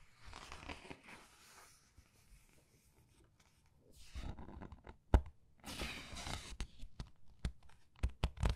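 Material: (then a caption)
Paper. Fingers with long red nails lift and turn the printed paper pages of a large open paperback art book on a white table. Soft papery rustling and sliding swishes build into louder crinkling, broken by a sharp snap partway through. The clip ends in a run of quick, crisp taps and flicks.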